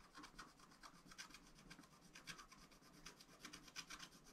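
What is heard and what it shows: A wooden stylus scratches and rubs a strawberry area on a black, wax-coated scratch-art page in a small spiral-bound pad of thin, flat paper. It makes quiet, dry, rasping strokes in quick repeated bursts. The sound is bright and hissy, with little low end.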